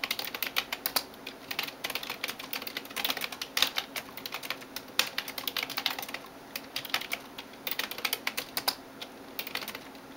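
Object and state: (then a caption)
Plastic computer keyboard. Fingertips and nails tap rapidly across the keys of a backlit plastic computer keyboard. Dozens of short, bright clicks come in quick, uneven bursts with almost no low end. Each click dies away almost instantly.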